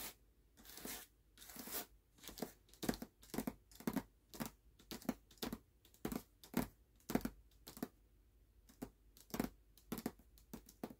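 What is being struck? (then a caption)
Hardcover book with glossy paper dust jacket. Short nails and fingertips tap and scratch quickly over the glossy paper dust jacket of a closed hardcover book resting on a black cloth. The result is a quiet, irregular run of brief, dry bursts: bright papery scratches over soft low-mid knocks, each dying away almost at once.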